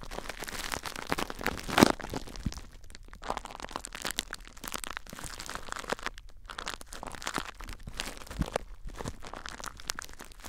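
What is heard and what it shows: Fingers grip and squeeze clear plastic bubble wrap wrapped tightly around a recorder, crinkling it. A dense, continuous stream of crackling and crunching plays throughout, with a sharper, brighter crack near the two-second mark and quieter crinkles in between.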